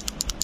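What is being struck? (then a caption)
Small plastic box with a bead inside. A small bead rattles inside a closed small plastic toy box as the box is shaken. Five short, bright clicks sound about a tenth of a second apart, crisp and high-pitched with almost no ring.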